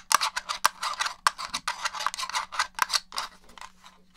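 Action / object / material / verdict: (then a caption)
tap / plastic game controller shell and buttons / plastic / none. Long nails scratch and tap across the shell and buttons of a black, hollow plastic original Xbox controller. A rapid run of dry, crisp clicks and bright scratchy scrapes centers around 1.2 kHz, each dying out almost instantly over a faint steady low hum. The tapping thins and grows quieter toward the end.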